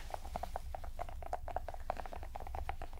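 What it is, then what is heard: Silicone pop-it fidget ball. A small, hollow, multicolored silicone pop-it fidget ball covered in bubble domes is held in both hands while its bubbles are pressed and popped and tapped and scratched with long manicured nails and fingertips. A quick series of short, dry clicks and pops sounds over a low, steady rumble.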